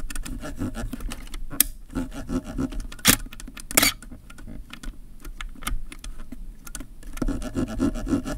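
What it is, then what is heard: Plastic camera lens barrel. A black plastic kit lens barrel mounted on a DSLR is scratched and rubbed by fingertips and nails along its ridged ring. The result is a dense stream of dry, short scraping clicks and raspy rubbing with bright high edges. A few sharper, louder scratches stand out.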